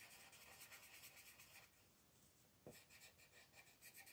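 A colored pencil rubs in small, quick strokes at the top edge of a thin paper mandala coloring page lying on a table, while the other hand holds the sheet. The quiet, bright, scratchy strokes ease into a softer hiss partway through, then a sharp tick brings the brisk scratching back.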